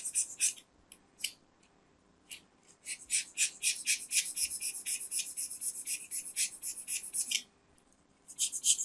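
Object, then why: Soap bar scraped with a metal knife. A metal craft knife carves and scrapes the edge of a small, round, solid white soap disc held in the fingers. Crisp, bright scratchy scrapes come in quick bursts at first, then in a dense, fast run, then pause before a final flurry.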